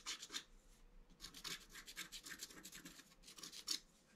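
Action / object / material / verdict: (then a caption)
scrape / black-coated scratch art paper card scratched with a wooden stylus / coated paper / none. A wooden stylus scratches lines across the top of a flat black-coated scratch art card, which the left hand holds flat. Soft, dry, high-pitched rasping strokes follow one another in quick, uneven bursts, with a brighter, sharper scrape near the end.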